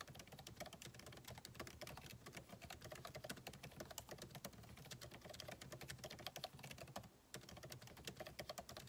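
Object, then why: Laptop keyboard with plastic keys in an aluminum body. Fingertips type steadily on the backlit keyboard of a MacBook Pro, with plastic keycaps set in an aluminum body. The result is a dense run of quick, dry key taps with a bright clicky edge and a soft low thud, broken by a brief pause near the seven-second mark before the typing resumes.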